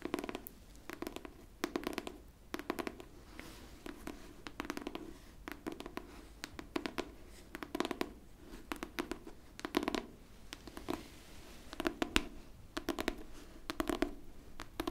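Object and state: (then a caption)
Hardcover book, tapped and scratched. Long pink nails scratch and tap the cover and spine of a pink hardcover book held horizontally. The result is a quiet, steady stream of short, dry clicks and scratchy strokes with a low-mid body and bright edges, coming in repeated clusters across the clip.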